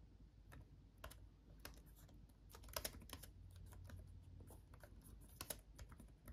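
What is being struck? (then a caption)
Plastic laptop keyboard. Fingertips of both hands type on a backlit laptop keyboard with plastic chiclet keys. The result is a quiet, irregular run of short, crisp plastic clicks with bright tops that die away almost instantly, over a steady low rumble.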